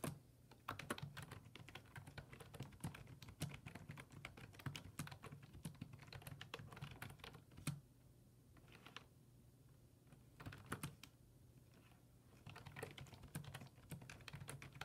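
Fingertips rapidly press the low-profile keys of a black plastic full-size desktop keyboard resting on a wooden desk. Dense bursts of sharp, bright clicks ride over a steady low hum. The typing pauses briefly around the eighth and eleventh seconds before resuming.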